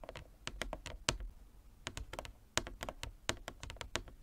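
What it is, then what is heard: Wooden chess board, nail tapping. Fingernails tap on a wooden chess board in quick, uneven runs of crisp clicks. Each tap is short and bright, with a light low knock underneath and almost no ring, and the taps cluster in bursts with brief pauses between them.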